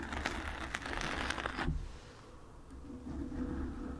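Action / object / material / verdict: scrape / foam microphone windscreen / foam / none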